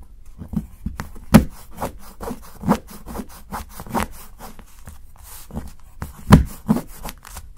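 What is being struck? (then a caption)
Dark chocolate bar and steel knife. A steel knife shaves curls off the edge of a solid dark chocolate bar held by fingertips. The result is a run of short, dry scraping strokes with low, woody body and brief crisp edges that stop almost at once, with a few louder cuts standing out.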